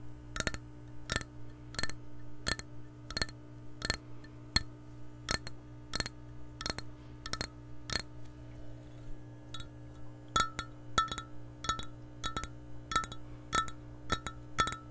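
Long nails tap an empty, hollow clear glass measuring cup in a steady series of quick, sharp clicks. Each tap gives a bright, brief chime-like ring over a constant low hum.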